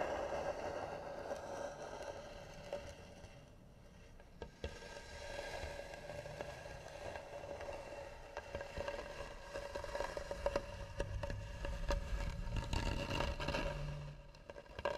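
Fingernails scratch slowly and hard across the lid of a hollow, carved, varnished wooden box. The result is a continuous dry scrape over a low rumble, with a steady mid tone near 570 Hz and frequent short ticks and crackles as the nails catch on the carving.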